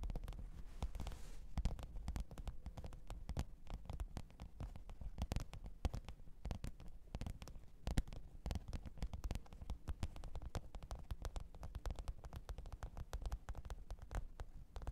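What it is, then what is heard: Faux leather zippered case. Long pointed nails tap and scratch the top of a black, textured faux-leather hard-shell microphone case with a zipper, lying flat on fur. Rapid, dense, dull taps with a deep, muffled low end and scratchy brushing run steadily throughout at a quiet level. Each tap dies away almost instantly.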